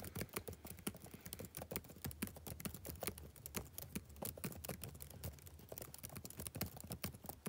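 Fingertips type rapid taps on the plastic keys of a backlit laptop keyboard for about seven seconds. Each keystroke is a short, crisp click with little ring, over a steady low hum.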